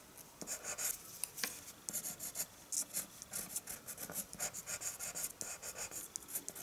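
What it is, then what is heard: Paper drawing sheet. The tip of a green-capped colored pencil scratches lines across a flat sheet of white drawing paper resting on a wooden table. A quiet, rapid series of bright, dry scratching strokes follows, each short and rasping with almost no low end and no ring after it.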